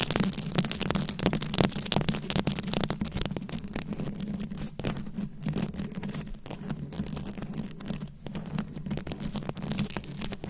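Long nails scratch the rhinestone beads covering a round microphone head. The result is a dense, continuous run of crisp scratchy clicks and crackles spreading up into bright highs, over a steady low hum.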